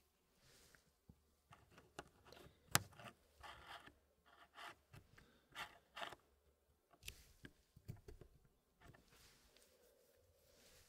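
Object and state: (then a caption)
Wooden packing puzzle pieces. Fingertips slide and press solid wooden pieces inside a small square wooden tray of the Elegance packing puzzle, which is only partly filled. Quiet, light wooden scrapes and soft rubbing come in short bursts with brief pauses, broken by one sharp click early on and a few smaller taps. The sounds are bright and dry, with almost no ring.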